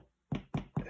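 Three knocks on a focaccia after about 25 minutes baking in a hot 200-degree oven give dull, low, hollow thuds that die away quickly. The hollow sound shows the bread is done.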